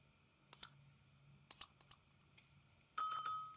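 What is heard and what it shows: A metal utility blade scrapes and carves thin shavings from a solid rectangular Dalan soap bar with a metallic gold coating and a purple interior, held in the hand. Sharp, crisp clicks come in pairs, followed by a few softer ticks, about eight hits in all over a quiet background. Near the end a louder, sustained bright scraping tone rings out and slowly fades.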